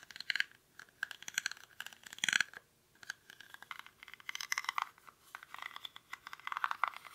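A small, hollow woven rattan or reed basket is held in both hands while fingernails scratch across its weave. The result is a quick run of dry, crackly scratches and crunches with bright, high-reaching texture, coming in bursts with brief near-silent gaps.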